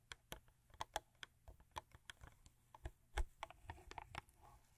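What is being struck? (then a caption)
Thin cardboard toothpaste box. Long acrylic nails tap and scratch a Crest toothpaste box made of thin printed cardboard, lying flat on a fur rug. A quick, uneven run of soft, dry clicks sounds over the quiet, each with a dull low thump and a brief bright tick that dies away almost at once.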